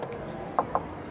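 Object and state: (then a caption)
Dry carbon fiber body panel. Two short, dry knocks on the widened rear fender panel of an R32 Skyline, made of dry carbon fiber under a thin coat of midnight purple paint as part of a Pandem-style widebody kit. Each knock is a brief, hollow tap centered around 1 kHz that dies away almost instantly, over a low steady background.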